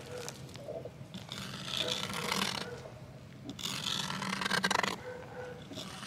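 A thin wooden twig scrapes and scratches across the surface of a flat green plastic box lid lying on the ground. The sound comes as two longer bursts of bright, rasping scratching with fast, uneven strokes, separated by a quieter stretch of faint rubbing.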